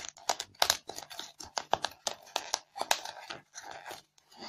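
Long fingernails scratch the surface of a white polystyrene foam block covered in crumbled foam beads. The result is a quick series of short, dry, crunchy squeaks and scrapes, bright and crackly with no low end, each stopping almost instantly.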